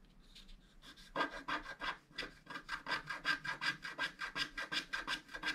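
A wooden stylus scratches the coating at the lower edge of a flat, black-coated scratch art card. After a faint start, it makes quick, steady back-and-forth scraping strokes with a dry, bright rasp, each stroke short and cleanly separated.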